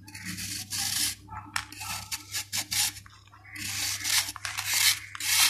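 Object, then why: Dried sand-cement ball scraped with a steel knife. A steel kitchen knife scrapes and shaves the flat cut face of a hand-sized solid ball of dried sand and cement, held in one hand, crumbling off powder. The sound is a bright, gritty rasping hiss, heard as long strokes at the start and end with a run of short scrapes in between. A faint, steady low hum sits underneath.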